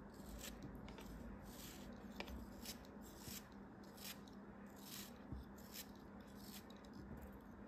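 A small solid beige piece of kinetic sand, held in fingers with red nails, is cut with the tip of a craft knife as crumbs fall away. Repeated soft, gritty scraping and crunching bursts with a bright hiss come over a low, steady hum.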